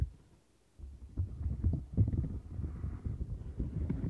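Long nails and fingertips scratch and press the central bumps and bristles of a turquoise flexible silicone textured scrubber mat. After a near-silent start, a dense run of muffled, low, thumping scratches and rubs continues to the end, with almost no high or bright content.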